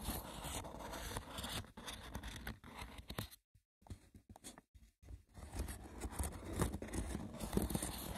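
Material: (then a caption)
Wicker. The woven surface of a wicker basket is roughly scratched, producing dense, dry, crackling scrapes. The scratching stops for about two seconds, leaving a few sparse, short taps and ticks, then resumes at full intensity until the end.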